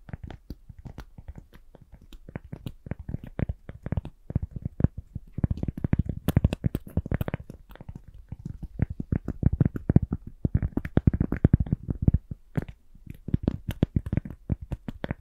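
A small, round, flat, solid cork coaster is tapped and scratched with the long glittery nails of both hands. Quick, soft, dull taps run almost continuously, mostly low in tone with a little scratchy texture above and almost no ring. The tapping comes in busier, louder bursts around the middle and toward the end.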